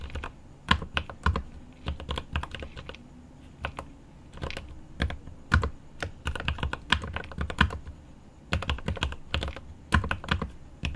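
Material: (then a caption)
Plastic, aluminum. Both hands type rapidly with the fingertips on a 75% mechanical keyboard with plastic keycaps on an aluminum case. Bursts of quick key taps sound as short clicks with a deep, low-weighted body and a bright top edge. Each tap dies away almost at once, with brief pauses between the bursts.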